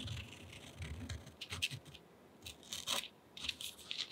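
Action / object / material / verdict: scrape / pen tip on thick cotton rag paper / paper / none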